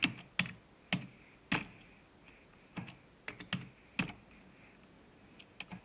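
Fingertips type on a black plastic computer keyboard resting on a desk, producing about thirteen separate, irregularly spaced keystrokes. Each press is a sharp clack with a soft low thump and a bright click that dies away almost instantly, with quiet gaps between strokes.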